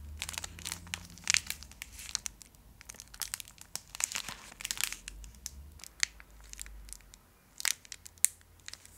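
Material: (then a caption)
Foil. A small, full Fry's Turkish Delight bar in a shiny foil wrapper is held in the hands and scratched and crinkled with long acrylic nails. It makes a dense run of sharp, bright crackles and crinkles with quick, short transients. The sound is mostly high, with very little low end.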